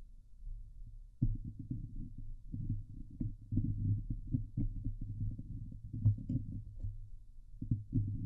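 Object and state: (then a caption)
Metal mesh microphone grille being scratched. Long glitter nails on both hands scratch the hollow steel mesh grille of a Blue Yeti microphone. The result is a dense, muffled, low-pitched rasping with rapid scraping bursts that swell and fade, starting quietly before a sharp onset and pausing briefly near the end.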